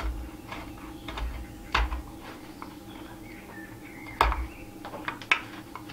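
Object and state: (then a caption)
Cherry wood spatula blank being whittled. A steel knife whittles and scrapes the head edge of a solid cherry wood spatula blank with a shaped head, held in a gloved hand on a leather apron. Dry, bright scraping strokes and quick woody cuts come at an uneven pace, with a few sharper snaps standing out over a low steady hum.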